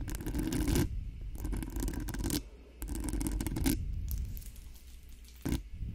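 Long acrylic nails on both hands rapidly scratch and tap the hollow metal mesh grille of a cream-colored Blue Yeti-style USB microphone. Dense, rumbly scraping comes in several bursts with brief pauses, heavy in the low end. A sharp burst of tapping follows near the end.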